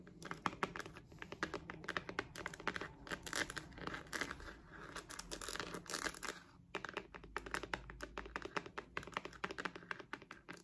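Long nails rapidly tap and scratch the surface of a hand-sized, purple, glossy, croc-embossed patent faux-leather wallet with a metal rhinestone logo, held in both hands. The result is a dense stream of short, dry clicks and crinkly scratches with little low end, pausing briefly just before the seven-second mark before resuming.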